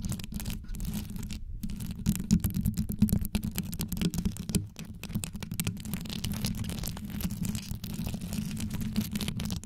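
A desktop microphone with a hollow grille head wrapped in rows of colorful rhinestones over a metal body is scratched and tapped fast with very long yellow acrylic nails on both hands. The result is a dense, rapid stream of deep, muffled scratches and clicks centered low around 180 Hz, with short sharp taps scattered through it.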